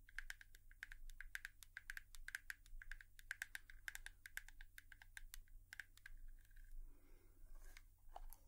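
Long nails tap rapidly on a hairbrush in an ASMR tapping sequence, giving quick, dry clicks with a bright tonal ring near 1.6 kHz over a steady low hum. Near the end the tapping briefly gives way to a soft scratchy rustle before a few last clicks.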